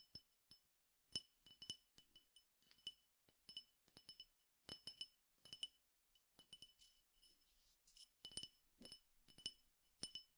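A clear drinking glass, partly filled with peppercorns or grains and held in the hand, is tapped with the fingernails in quick bursts of sharp clinks. Each tap is a bright, high glassy tick that dies away almost at once, with faint rattles of the grains between the bursts.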